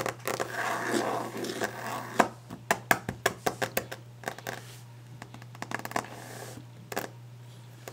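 Long nails tap and scratch the top of a solid varnished wooden desk. Brushy scratching gives way to a run of sharp, dry taps with short decays over a faint steady hum.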